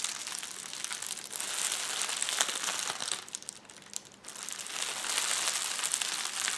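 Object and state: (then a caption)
Plastic bubble wrap being crushed. A roll of clear plastic bubble wrap is squeezed and pressed with the fingers of both hands, giving a dense, bright crinkling and crushing with rapid tiny crackles. The crackling eases briefly past the midpoint, then builds back to a steady, busy crinkle.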